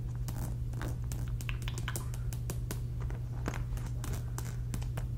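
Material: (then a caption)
Fabric. A medium polka-dot fabric cosmetic pouch, soft and hollow, is held up and scratched across its surface with long red nails. Quick, dry scratching and crinkling strokes repeat over a steady low hum.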